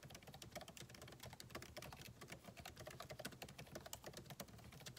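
Fingertips of both hands type rapidly on a solid, backlit MacBook Pro keyboard with plastic keycaps in an aluminum body, resting on a desk. A dense, steady stream of short, bright clicking key taps fills the clip, each dying away almost instantly, over a faint low thud from the keystrokes.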